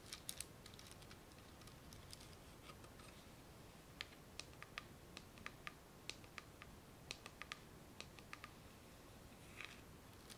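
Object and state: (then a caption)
Plastic bead garland scratched. Fingernails scratch and rub across gold plastic beads wound on a spool held close up. Sharp, bright clicks and ticks come in irregular bursts over a quiet, steady hiss, with a softer scratchy rustle near the end.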